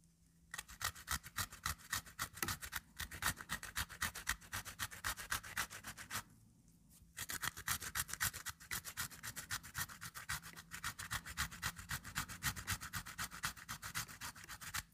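A piece of solid, moist green cucumber is rubbed by hand across the perforated metal face of a small pink plastic-framed metal grater, leaving green shreds on the grater. Quick, steady back-and-forth scraping strokes, about four per second, give a bright, wet rasp. There is a brief pause of about a second near the middle before the grating resumes at the same pace.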